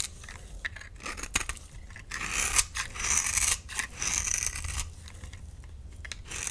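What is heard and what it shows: A solid, hand-sized bar of lime green soap held in the palm is scraped and carved with a metal utility knife blade, with shavings falling off. Dry, bright scraping and rasping strokes come in a steady run, growing louder and denser through the middle before easing back to softer scrapes.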